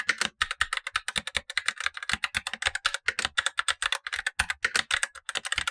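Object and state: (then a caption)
Plastic mechanical keyboard with tactile switches. Blue-gloved fingertips type on a Razer BlackWidow Lite, a tenkeyless plastic mechanical keyboard with black plastic keycaps and tactile switches, the upper of two keyboards while the lower one stays untouched. Around forty quick, dry keystrokes sound in a steady run, each a short bright clack with almost no low end and almost no ring.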